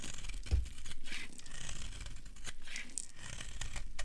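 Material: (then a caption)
Soap. A metal blade shaves and carves a solid white branded bar of dry soap held in the hand. Repeated dry, rasping scrapes and crisp tearing strokes sound over a low rumble, with brief bright flecks as shavings come away.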